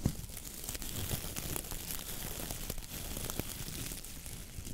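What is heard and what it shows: Fingertips and nails pinch, squeeze and scratch the dense natural bristles of a coconut fiber (coir) dish brush head. The result is a steady, close crinkling and scratching rustle with bright crackly edges over a soft low rumble, and occasional sharper snaps throughout.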